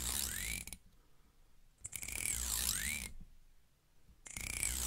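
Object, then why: Plastic comb teeth. Long red-painted nails strum and flick along the long thin teeth of a small, solid, black plastic wide comb held in front of a wigged microphone. The result is a bright, ratchet-like clicking with rising and falling sweeping tones, heard in three bursts separated by near-silent pauses.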